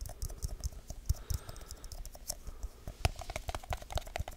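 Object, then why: Small aluminium tin. A small, round, hollow aluminium tin can is tapped quickly with fingertips and nails, first on the lid side and then on its white labelled bottom. The result is a fast, uneven stream of short, dry clicks and soft low thuds, each with a faint metallic ping that dies almost at once.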